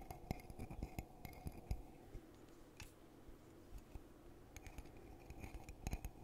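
A hollow red glittery glass coffee mug, held in both hands, is tapped on the outside with fingertips. Soft, short clinking taps come in quick bursts, then thin out into a quieter stretch in the middle before picking up again. Each tap dies away almost at once.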